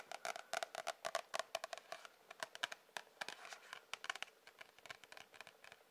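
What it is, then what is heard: Cardboard sketchbook cover. Fingernails tap and scratch the back and front cardboard covers of an A4 spiral-bound sketchbook. About 33 quick, dry taps ring with a hollow papery tone. Softer scratching rustles between them, and each tap dies away almost instantly.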